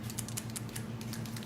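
A new liquid eyeliner pen is shaken, giving a quick run of small, bright rattling clicks over a steady low hum. The rattle marks a liquid product with a mixing element inside that should be shaken well before use.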